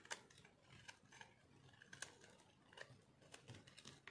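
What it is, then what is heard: Dry soap bar being scraped. A metal blade scrapes and cuts thin flakes from a hand-held, solid, pinkish dried soap bar with a green spot. Quiet, dry, crunchy scraping is broken by irregular sharp, bright clicks that die away almost instantly, with a faint tone around 1.6 kHz.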